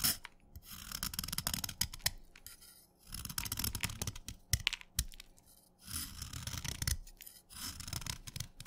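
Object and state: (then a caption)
Wet chalk stick being shaved. A steel knife blade scrapes and shaves a solid wet orange chalk stick held between fingers, cutting it into crumbly flakes. Bright, gritty rasping comes in several scraping passes separated by short pauses, with sharp little clicks and soft low thuds underneath.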